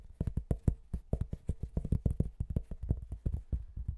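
Fingernails tap rapidly on the surface of a white-veined, patterned cork board held in both hands in front of the microphone. About 25 quick, soft, low thuds come in an uneven rhythm, each damped almost at once with no ring.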